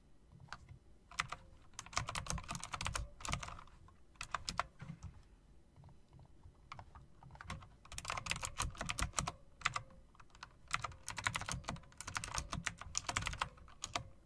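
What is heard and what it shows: Long-nailed fingertips type on a typewriter-style mechanical keyboard with round plastic keycaps and metal rims. Quick bursts of sharp, bright clicks with clacky low thuds come in flurries, separated by short pauses. Each keystroke stops dead with almost no ring.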